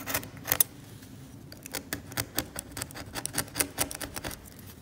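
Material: Varnish.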